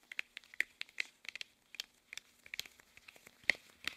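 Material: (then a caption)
Rubber. Hands wearing long, thin, hollow red rubber household gloves rub, squeeze and stretch against each other. The rubber surfaces give off a quick run of sharp, bright squeaks and crinkly rubbing sounds, with no low end. The squeaks are short and dry, coming in an irregular series of about thirteen distinct bursts.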